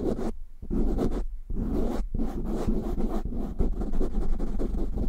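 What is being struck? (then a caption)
Foam microphone windscreen. Short nails quickly scratch a black foam windscreen on a microphone, producing dense, rough scratching and rubbing with a heavy low rumble. Brief pauses break up the bursts, and the sound stays muffled with little high-end content.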